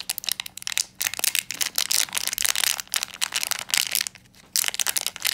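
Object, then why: Metallized plastic foil pouch. Fingertips crumple and squeeze a small black metallized plastic foil blind bag with a pin inside, held in both hands. Bright, dense crinkling comes in bursts, broken by short quiet gaps.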